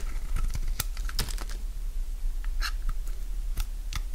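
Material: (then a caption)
Soap. A solid bar of dry purple soap is held in the palm while its edges and face are shaved with a utility knife blade. Quick, dry scraping and crunchy cutting strokes come through as short bright ticks over a low steady hum.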